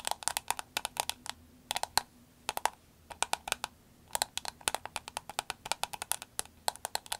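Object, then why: Soft vinyl glasses case tapped with fingernails. A soft green vinyl glasses case is held, tapped and squeezed with long acrylic nails. Dozens of sharp, dry, bright clicks come in quick bursts separated by short pauses, each dying away almost instantly, with a light hollow body around 850 Hz.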